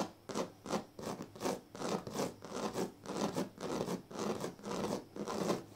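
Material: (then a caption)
Reed. Fingers scratch and rub along the thin dyed reed strands of a large, flat woven reed sleeping mat. The result is a series of dry, raspy scratching strokes at an uneven rhythm, each a brief burst of broadband noise with bright, high hiss that fades quickly between strokes.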